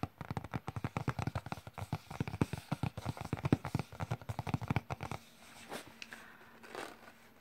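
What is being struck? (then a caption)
Flat cardboard box. Fingertips and nails tap rapidly across the printed keyboard image on a flat cardboard keyboard box held on a lap, making a dense run of dull, low, papery taps with a short crackly edge. After about five seconds the tapping stops, leaving only a few faint soft rustles.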